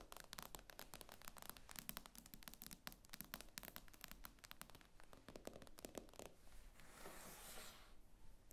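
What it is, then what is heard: Tablet glass screen tapped with nails. Long nails tap rapidly on the glass screen of an iPad lying flat, making a dense run of quiet, sharp clicks with a low undertone. Near the end the taps give way to a softer, brighter brushing or scratching sound across the glass.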